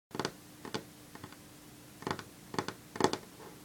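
Long natural fingernails of one hand drum on a solid varnished wooden tabletop, giving short, dry clicking taps in uneven clusters, with a faint steady hum underneath. The taps are bright and crisp, with almost no ring.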